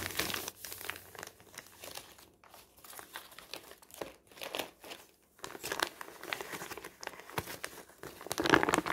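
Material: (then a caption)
Paper. A large, flat, thin glossy newsprint advertising flyer, already crumpled and spread on a table, is crumpled and crinkled by the fingertips of both hands throughout. Dry, bright crackling comes in uneven bursts separated by brief quiet gaps. The rustling grows louder and denser toward the end.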